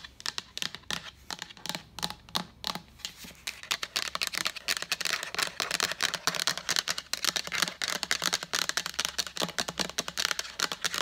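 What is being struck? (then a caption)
Plastic pitcher. Long acrylic nails tap rapidly on the side of a large, empty, translucent plastic pitcher with a lid. The result is a continuous stream of bright, dry, clicky taps with almost no ring or low end. The tapping starts in lighter bursts and grows denser and louder after the first few seconds.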